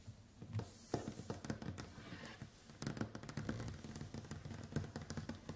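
Long white acrylic nails on both hands tap rapidly across a large, solid, varnished wooden tabletop. The result is a quiet, dense run of short, dry clicks and knocks with a low, woody body and almost no ring after each hit.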